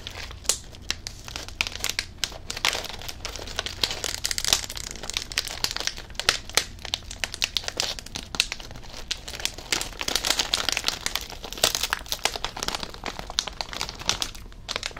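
A blue Covered Bridge potato chip bag of plastic foil, full of chips, has its corner pinched and crinkled with the fingers. Dense, bright crinkling and crackling continue for the whole 15 seconds, with many sharp, quickly fading snaps over a faint steady low hum.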